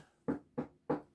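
A large, spray-painted papier-mâché reindeer decoration is tapped three times. Each tap gives a dull, hollow knock that dies away quickly, showing that the reindeer is made of paper and is hollow.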